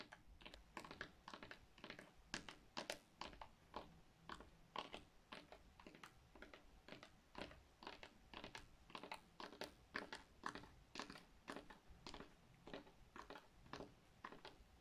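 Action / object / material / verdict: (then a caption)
tap / glitter-coated plastic reindeer figurine / plastic / none. Long nails tap rapidly on the body of a large gold glitter-coated plastic reindeer figurine. Dozens of quiet, dry, clicky taps come in quick, uneven bursts, each bright and short with almost no ring.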